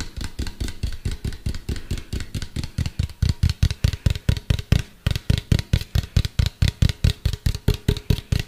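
A medium hollow white plastic cylindrical container, tilted toward the mic, is tapped with fingertips and nails in a rapid, steady rhythm of about 40 taps. Each tap gives a deep, hollow thump with a bright, clicky edge and dies away almost at once. The taps grow louder after the first few seconds.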